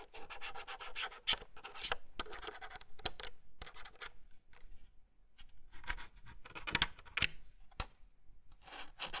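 Fingertips and nails scratch and rub across the round plastic keycaps, the yellow plastic frame and the underside of the hollow plastic case of a Logitech Pop Keys plastic wireless mechanical keyboard, about 30 cm wide. The result is a run of dry, bright scratching bursts, broken by sharp clicky ticks and short quiet gaps.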